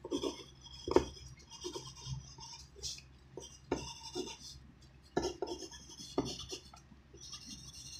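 A graphite pencil tip scratches across a thin white sheet of writing paper on a wooden desk during handwriting. Quiet, continuous scratching strokes carry a bright hiss, broken by short, sharper ticks where the pencil presses or lifts.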